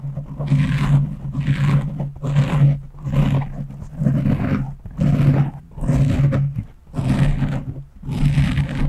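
Long fingernails on both hands slowly scratch a black foam windscreen on a microphone. Muffled, rough scraping swells in and fades again roughly once a second, with a deep, boomy low rumble under each stroke.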